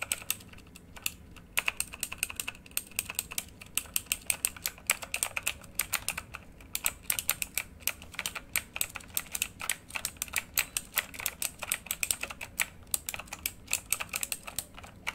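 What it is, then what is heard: Mechanical keyboard with plastic keycaps. Both hands type rapidly with their fingertips on a full-size RGB backlit mechanical computer keyboard with plastic keycaps on a hollow housing, lying flat. The result is a fast, uneven stream of bright, crisp key clacks that die away almost instantly, over a quiet background.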